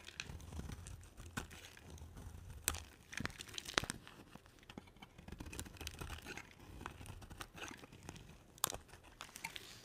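A solid cream oval bar of soap, held between long-nailed fingers, is shaved with a utility knife blade. Dry, crisp scraping and crinkling sounds are heard, with sharp bright clicks as the blade catches and flakes break away over a soft low rumble.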